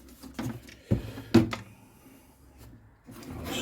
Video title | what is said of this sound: Repairing a damaged Guitar. Part 1 removing the back | loose inside here which looks like a piece of the x-brace